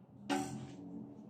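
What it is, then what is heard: Aluminum bicycle spoke, deeper ringing tone. Aluminum spokes on a bicycle wheel are flicked once, giving a single sharp pluck at about 0.3 seconds that settles into a low, deep ringing tone around 285 Hz. The ring fades within about a third of a second, with a faint hum underneath, and the tone is deeper than that of the other wheel's spokes.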